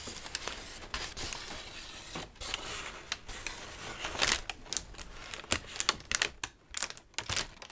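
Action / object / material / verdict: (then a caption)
shake / thin brown kraft packing paper / paper / none. A large crumpled sheet of thin brown kraft packing paper is held up in front of the face and crinkled and shaken with both hands. The result is a steady, bright crackling rustle broken by sharp, dry snaps and crunches that die away almost instantly, with little low-end weight.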